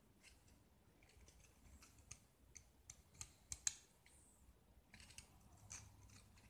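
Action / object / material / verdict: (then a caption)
scrape / painted gypsum plaster block / gypsum plaster / none. A metal utility-knife blade scrapes and carves a small, solid, hand-held gypsum plaster block coated in yellow paint, and white chalky shavings fall off. About eight short, bright, crisp scraping strokes stand out over a quiet, hissy background, building to the sharpest one near the middle.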